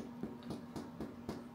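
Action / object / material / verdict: tap / loaf of white bread / bread crust / hollow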